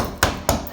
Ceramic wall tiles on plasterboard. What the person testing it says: this is all just drummy